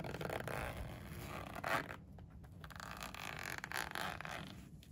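A pink padded polyester pencil case lies closed on a windowsill, held flat by one hand while fingers with painted nails slide the zipper pull along its edge. The zipper gives a steady, quiet scraping rasp, centered in the mids with some brighter hiss, swelling and fading over about five seconds.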